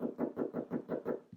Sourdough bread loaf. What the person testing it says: it sounds hollow when knocked